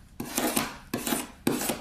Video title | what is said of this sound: Moto z2 force unboxing / scratch test burn test bend test | it definitely sounds like metal